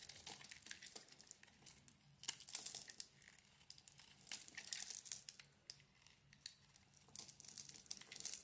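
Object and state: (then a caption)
Bar of soap. A handheld solid pink bar of soap with a dotted print and a white interior is carved and scraped with a utility knife blade, shaving off crumbly pieces. Dry, crinkly scraping and crunching sounds come in bursts, mostly high and bright, with sharp peaks near 2.3 and 6.4 seconds.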